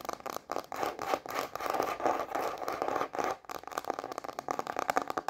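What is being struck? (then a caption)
Plastic cutting board. A thin, solid white plastic cutting board with a red rubber edge is held upright in both hands while long manicured nails tap and scratch its empty face. The result is a fast, irregular run of dry scratching and clicking taps, mostly in the mid range around 750 Hz, with short pauses between bursts and no low rumble.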